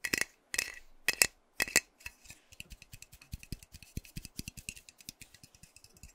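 Fingernails tap a hand-sized, hollow metal aerosol hair spray can with a pink plastic cap while it is held. Four bright, scratchy bursts with a thin metallic ring near 2.6 kHz open the clip, then quicker, softer clicking taps follow with faint low thumps. The taps come at an uneven pace and die away almost instantly.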